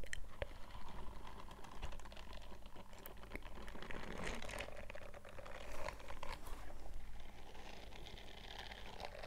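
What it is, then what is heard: Silicone scrubbing glove. Bare fingertips scratch and rub the bristled palm of a purple silicone dish glove worn on the other hand. The result is a quiet, continuous stream of soft crackling and ticking scrapes, like light typing or crinkling, over a steady low hum.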